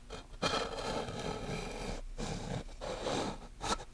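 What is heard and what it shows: Long nails tap and scratch across the flat, solid surface of a small handheld black chalkboard and along its wooden frame edge. Sustained, broadband scraping strokes with a bright rasp are broken by brief pauses, and a sharp tap near the end.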